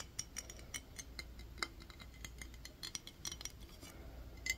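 Fingernails tap and scratch on a clear glass mason jar with a metal lid, partly filled with water. Quick, bright clicks and light scraping come in a steady, irregular series, with an occasional faint glassy ring near 2 kHz. The sound is soft and dies away almost instantly after each tap.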